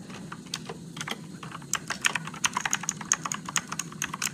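Fingertips slowly type on an RGB-backlit Motospeed mechanical keyboard with blue switches and plastic keycaps. About twenty short, sharp, irregular clicks are heard, each with a bright, high click and almost no ring over a faint low hum.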